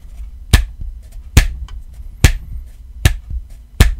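Fingertips and nails tap on the back and sides of a black rubbery iPhone XR case with red buttons and a fabric card pocket. Five sharp, separate taps land at an uneven pace, each a dull low thump with a brief bright click that dies away almost instantly. Faint softer tapping fills the gaps between them.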